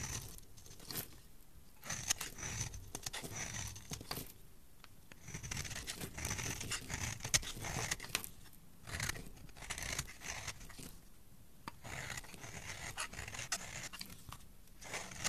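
A pale yellow solid soap bar held in one hand has its edges shaved and scraped with a metal utility knife blade, peeling off curls and flakes. Bright, crisp scraping and crinkly shaving strokes come in repeated bursts, with short quiet pauses between them.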